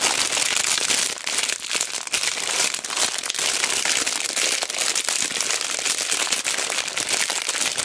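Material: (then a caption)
Plastic, wood. A pack of small solid wooden cubes in a clear plastic bag with a cardboard header is squeezed, pressed and rubbed with fingertips and long black nails. This gives steady, bright plastic crinkling mixed with quick, dry clacks of the wooden blocks, with almost no low end.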